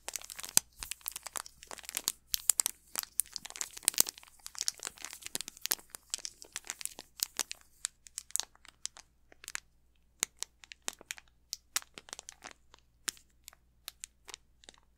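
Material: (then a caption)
Plastic film. Fingertips and nails crinkle and scratch the plastic wrapper of an unopened Snickers candy bar held upright. Dense, bright crinkling and scratching fill the first half, then thin out into sparser, sharp crackles with quiet gaps between them.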